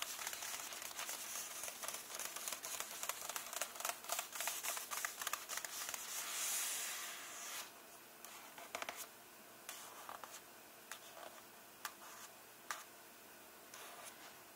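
Fingernails lightly tap and scratch on the paper pages of an open hardcover book, resting on the same illustrated spread. For the first half, quick, bright crinkly taps come in a dense flurry, with a brief, swelling scratch near the middle. The second half settles into sparse, isolated taps over near silence.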